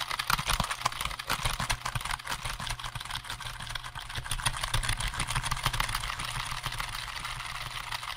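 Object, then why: Plastic computer keyboard. Fingertips rapidly tap the keys of a hollow black plastic computer keyboard held in front of and beside the microphone. The result is a dense, uneven flurry of short, bright plastic clicks and clacks with no pauses, over a steady low rumble throughout.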